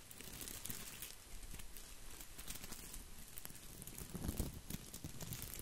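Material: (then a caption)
Plastic. Fingertips scratch and brush over the leaves of an artificial green plastic boxwood topiary ball, producing a continuous dry crinkling and rustling with bright crackly textures. The sound stays fairly steady and quiet, swelling slightly louder with a deeper rustle near the end.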